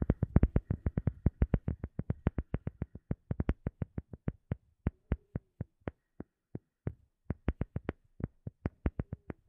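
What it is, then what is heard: Rubber sheet. A rubber sheet is tapped with a rapid series of dull, deep thuds that die away almost instantly. The taps come fast and dense at first, then space out into a steadier rhythm. After a brief pause they pick up again toward the end.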